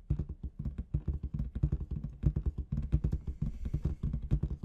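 Long red nails tap and scratch the surface of a large inflated clear latex balloon with confetti inside. A rapid, uneven stream of short, dull, low thumps dies away almost instantly, with faint scratchy brushing between the taps.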